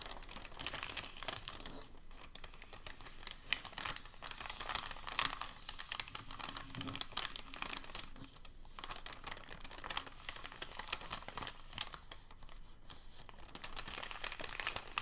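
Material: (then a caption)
Paper. Hands fold the edge of a thin, crinkled packing paper sheet and press it down, producing a steady stream of soft, bright crinkling and crackling. The dense, quick crackles swell in small bursts throughout, with little low-end weight.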